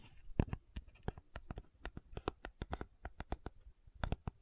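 A small, hollow, rectangular pink cardboard sunscreen box is held in both hands while long nails scratch and tap the carton. About two dozen short, dull, low thumps come in a quick, uneven run with faint scratching between them. Each tap dies away almost instantly, with no ring.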